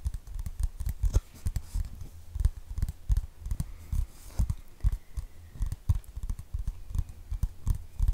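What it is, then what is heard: Paperback book cardboard cover. Fingertips and nails tap and scratch across the cardboard cover of a light green printed paperback book held flat near the mic. Dozens of quick, dry, soft taps thump low, mixed with brief papery scratches that flicker up into high hiss. Each sound dies instantly, with no ring.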